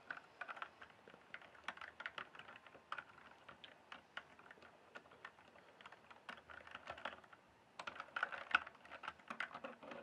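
Fingertips tap and type at a slower pace on the plastic keycaps of a full-size RGB-backlit mechanical gaming keyboard. Short, dry clicks in uneven bursts, each dying away almost at once, with a bright midrange clatter and a brief pause before the typing picks up again.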